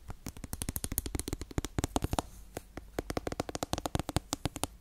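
Long red acrylic nails rapidly tap and scratch a small plastic cosmetic bottle with a yellow cap and a printed label, likely partly full, held beside a bare metal-grille microphone. A quick, uneven run of short, dry, crisp clicks sounds with a brief softer scratchy stretch midway, each tap dying almost instantly.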